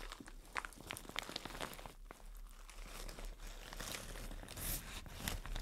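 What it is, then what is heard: Plastic shower cap being crinkled. A white printed plastic shower cap is held and squeezed while long nails crinkle it. Soft, continuous crinkling and rustling is heard, broken by short, sharp, bright crackles and taps throughout at a low overall level.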